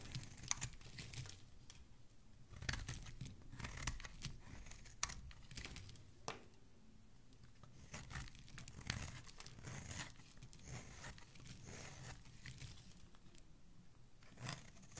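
A metal blade scrapes along the cut-down corner edge of a solid green bar of soap held in one hand, and shavings fall away. The sound is soft, dry scraping and crinkly tearing, with brief bright strokes and some louder scrapes over a quiet low background.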